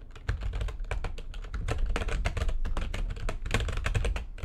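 Fast typing with long nails and fingertips on a full-size plastic computer keyboard with white backlighting and a hollow housing. Rapid, densely packed keystrokes give bright, sharp clicks over a heavy low-end thump, each dying away almost at once.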